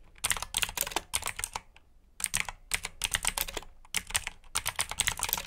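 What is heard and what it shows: Fingertips of both hands type on a black mechanical keyboard with plastic keycaps and clicky switches. Bursts of rapid, bright, sharp clicks come in three runs separated by short pauses.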